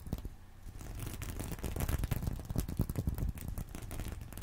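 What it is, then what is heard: Sequin fabric purse. A fingernail scratches across the sequins of a small, reversible, sequin-covered fabric purse resting on a pillow. The result is a quiet, steady run of dense crackling and rustling, with soft bright clicks over a muffled low rumble.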